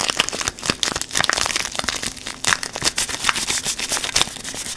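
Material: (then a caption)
Paper. A small yellow paper wrapper around a bar of natural soap is held in both hands and crinkled and squeezed with the fingers. Dense, bright crinkling and crackling rustles come in quick overlapping bursts with almost no low end, each crackle stopping almost instantly.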